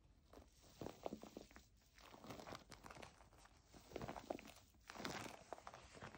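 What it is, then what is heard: Plastic foam bath pillow. A white plastic foam bath pillow is held and bent, then scratched with long nails and tapped with fingertips while it lies flat. The result is quiet, crinkly rustling and scraping with bursts of short, soft taps.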